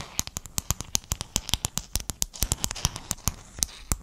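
Fingernails tap and scratch a flat sheet of silver-blue hexagon mosaic tiles held in both hands near the mic. About 28 sharp, bright clicks come in a quick, irregular rhythm, each dying away almost instantly with no ring. Faint scratchy rustle fills the gaps between them.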